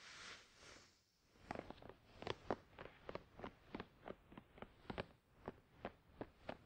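Fingertips of both hands scratch and tap a closed, hollow, glossy black printed cardboard product box for a Tascam DR-100 mkII, resting on a towel. A soft, airy scratching rustle opens the clip, then about 19 quick, dry, hollow taps follow in a steady rhythm, each one dying away almost at once.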